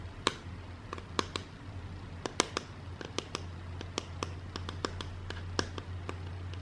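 A flat grey rigid cardboard box lid, about the size of a book, is held in the hands and tapped and scratched with long dark nails. Sharp, dry, bright clicks come in an irregular series over a soft scratching texture and a steady low hum. Each tap dies away almost instantly.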